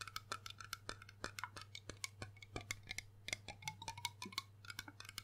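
Fingertips and nails tap quickly across the embossed base, body and label of a large, hollow, dark glass rum bottle held close to the microphone; the bottle's fill level is unclear. The taps make a dense series of crisp, bright clicks with short glassy tones that shift in pitch around 1–2 kHz and die away almost instantly. A steady low hum sits underneath.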